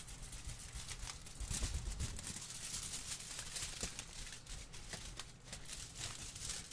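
A large crumpled sheet of thin aluminium kitchen foil, held by hand close to the microphone, is crinkled and shaken with the fingers. The result is a steady, irregular crackle of bright, crisp snaps over a soft low rumble, swelling slightly midway and never fully pausing.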